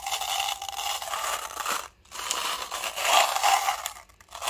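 A small, hollow clear plastic cup partly filled with small silver steel balls is held between the fingertips and swirled and shaken so the balls roll and rattle inside. The result is a steady, bright scraping rattle centered in the mid range, with brief silences around two seconds and four seconds before the rolling resumes.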